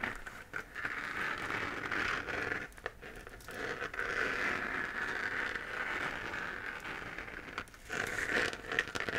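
Long fingernails scratch the textured surface of a hollow, lit 3D-printed plastic moon lamp held in the hand. The result is a dense, crackly scratching with a bright, papery rasp centered in the upper mids, broken by a few brief pauses and steady, light strokes throughout.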